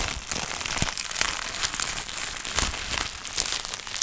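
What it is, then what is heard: Plastic bubble wrap being crumpled and popped. A clear plastic bubble wrap sheet with air-filled bubbles is held in the hands while the fingers crumple it and pop the bubbles. A steady, bright crinkling runs throughout, broken by sharp, short pops that die away almost instantly.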